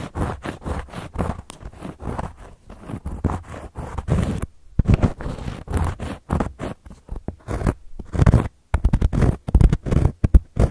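Long gold metal claw nails scratch a round, flat, solid cork board coaster in a quick, irregular series of short rasping strokes. Each stroke is a dry, crunchy scrape with a heavy low thump and a thin bright hiss, and the strokes stop dead with almost no ring. Brief silent gaps separate the bursts.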